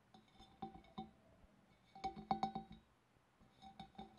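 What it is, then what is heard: Glass fish bowl. Fingernails tap on a glass fish bowl, producing about 13 quiet, bright clinks in three loose clusters. Each tap gives a short glassy ring with a clear tone near 780 Hz that fades quickly.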